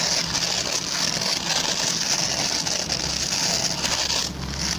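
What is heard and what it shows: Fingertips and short nails scratch the plastic pin bristles of a hand-sized oval white plastic brush. The result is a steady, dense, bright scratching and crackling that stays concentrated in the high range, with a brief dip in intensity near the end.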